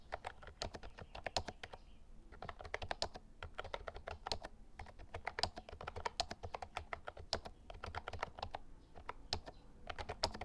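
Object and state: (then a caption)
Plastic mechanical keyboard being typed on. Fingertips type rapidly on the round keycaps of a white and lilac plastic Actto Retro Pop Mini Bluetooth mechanical keyboard, while the tablet beside it stays silent. Short bursts of sharp, bright, clacky keystrokes die away almost instantly, with brief pauses between runs.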